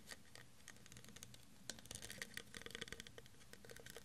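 Fingernails scratch and tap the ridges of a clear, faceted, textured plastic tumbler, hollow and empty and held in one hand. Quick, irregular, quiet clicks and light scratches patter over a low background hum, getting busier and sharper toward the second half. Each tap is bright, dry and short with almost no ring.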